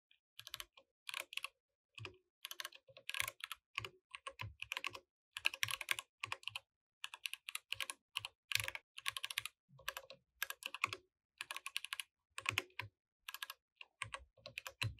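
Fingertips type continuously on a compact mechanical keyboard with plastic keycaps. Bright, clicky keystrokes come in quick bursts separated by short pauses. Each click dies away almost instantly with little low-end weight.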